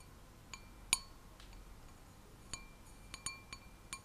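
An empty, clear stemmed wine glass with a white printed design is held in one hand and tapped with long manicured nails. Seven separate bright clinks sound over a quiet background, the strongest near the first second. Each clink leaves a faint, steady ringing tone around 1 kHz and 2.5 kHz.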